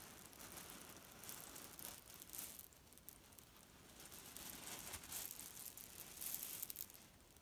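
A small grey leaf-print cotton pillow filled with loose cherry stones lies on a bed while fingertips press, squeeze and crumple it. The pits grind and rattle in a soft, bright, dry crackle that rises and falls in uneven bursts throughout.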